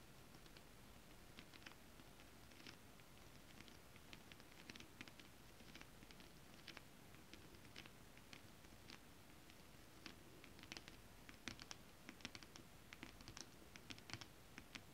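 Long acrylic nails tap rapidly on flat holographic mermaid scale-print fabric, then scratch across it. The sound is a quiet, uneven patter of short, dry clicks with bright edges, over a soft low hum.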